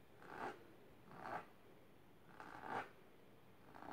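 Long silver-painted nails scratch across the fabric surface of a large pink patterned fabric-covered box or ottoman, rigid and likely hollow, lying on purple cloth. Five soft, rasping scratch strokes rise and fade at an uneven pace, with a dry mid-range scrape centered around 800 Hz and quiet hiss between them.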